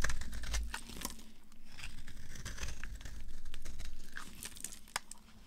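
A dry, solid rectangular green bar of soap is held in the hand and carved and scraped with a utility knife blade, curling shavings off. The blade makes dense, irregular crisp scratching and crackling strokes with sharp, bright clicks, over a steady low rumble that dominates the sound.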